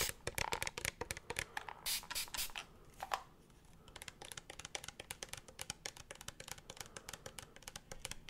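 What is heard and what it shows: Fingertips tap and scratch a hollow, apparently empty clear plastic spray bottle with a pink plastic trigger head, close to the mic. Rapid, dry, bright clicks dominate, broken by brief louder scratchy bursts around two to three seconds. After that the tapping turns lighter and quieter in a steady patter.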